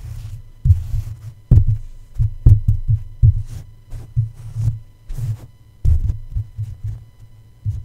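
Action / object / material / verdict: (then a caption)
tap / microphone metal mesh grille / metal mesh / none. A plush toy's fabric feet tap down onto the hollow, black metal mesh grille dome of a red microphone, producing about 17 soft, muffled thuds at an uneven pace. Each tap is a deep, low thump centered near 100 Hz that fades quickly, with a faint hum underneath.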